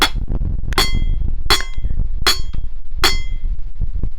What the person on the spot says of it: एक छोटा दगड घेतला आणि हा एक त्याच्यावर आदळून बघितला तर एक आवाज येतो